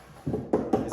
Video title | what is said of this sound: Which Wooden Tripod Sculpture Stand is Best? Mabef or Utrecht? A Product Review | the UT wood is a lot cheaper hear that Hollow sound whereas May bef is solid